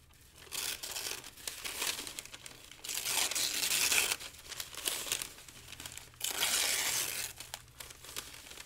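Thin, light pale-green paper sheets are lifted, crinkled and torn by the fingers of both hands over a pile of the same paper. Dry, bright crackling and rustling come in swelling bursts, with ripping sounds and almost no low end. The texture rises and falls in waves as the paper is worked.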